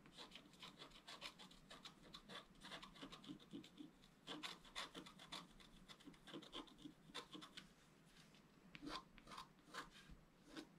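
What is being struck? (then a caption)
Scratch-art card scratched with a wooden stylus. A thin wooden stylus scratches across a flat black-coated scratch-art card held down by one hand. Quick, dry, rasping strokes repeat in uneven bursts, each with a bright, high hiss and a soft rubbing undertone, stopping dead with no ring.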